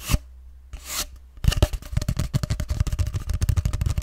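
Fingertips tap and scratch a long, hollow grey cardboard tube held upright beside the microphone. A few soft scratchy brushes come first, then a rapid, steady run of dull, hollow, low thumps fills the rest of the clip.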